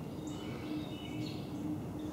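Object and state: Nothing is struck.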